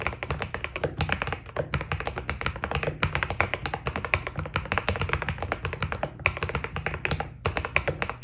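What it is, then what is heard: Mechanical keyboard with PBT keycaps. A white Keydous NJ80 mechanical keyboard with PBT keycaps is typed on steadily with the fingertips of both hands. A dense, continuous run of short, crisp taps is heard, each with a low thock and a bright clack that stop almost instantly.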